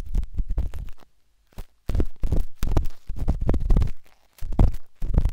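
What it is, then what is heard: Silicone microphone ear being scraped. A metal-tipped dot stick with a wooden handle scratches inside the soft, hollow canal of a pinkish-white silicone binaural microphone ear. The result is close, muffled, bassy rubbing and scraping in quick bursts, broken by a brief silent pause.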